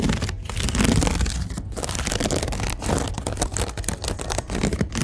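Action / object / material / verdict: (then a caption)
scrape / woven rope storage basket / rope / none. Fingertips and nails scratch along a large, hollow, empty storage basket woven from white twisted rope with brown strands, sitting on a store shelf, with a mini mic held close. Dense, rasping scratches run in fast and slower strokes with a few brief pauses, carrying a heavy low close-mic rumble under a bright, fibrous texture.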